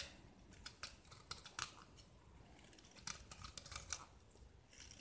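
A small solid white gypsum block with a purple painted surface, held in the hand, is scraped with a metal utility knife blade that peels off curls of plaster. The scrapes are quiet, crisp and bright, each a short scratchy stroke that dies away almost at once, with faint rustling between them.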